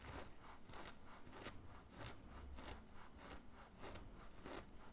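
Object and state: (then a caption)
Cotton t-shirt being scratched. Fingernails scratch the chest of a worn black printed cotton graphic t-shirt in repeated strokes. Each stroke makes a soft, bright, papery rasp over a low, dull rumble, with the strokes coming at an uneven pace. The overall sound is quiet.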